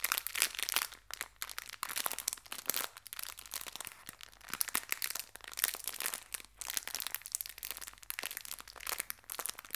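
A small clear plastic bag full of colorful hair ties is gently crinkled and squeezed with fingertips and long red nails. The sound is a steady stream of bright, crisp plastic crinkles and crackles in short bursts with brief quiet gaps, almost no low end, and no ring after each crackle.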